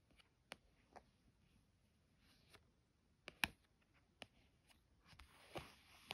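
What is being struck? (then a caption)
Thick cardstock card. A long fingernail traces and scratches over a small, thick, illustrated cardstock card with a witch drawing, lying flat. Quiet, bright, dry scratches and sharp little ticks are separated by near-silence, and a longer, hissing scrape comes near the end.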